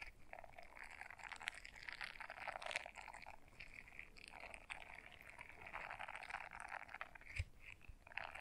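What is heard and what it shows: Long fingernails scratch the bristles of a small blue silicone scrubber brush folded in half. The result is a quiet, continuous, dry crackling scrape with a bright edge and a lower rasp, rising and falling in waves. A couple of sharper clicks stand out near the end.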